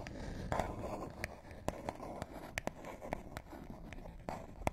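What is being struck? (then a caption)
Small paperboard box. Fingernails scratch and tap the edges and faces of a small, flat, hollow printed paperboard box. Soft, dry scratching runs throughout, broken by a series of short, sharp taps that die away almost instantly.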